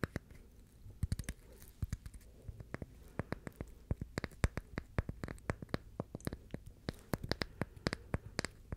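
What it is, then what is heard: Coconut shell half. A brown, hollow, dry, hand-sized coconut shell half is held in both hands and scratched and tapped with the fingertips and nails. Quiet, sharp, dry clicks and taps come in irregular bursts over a faint scratchy bed, with a low hollow body and almost no ring.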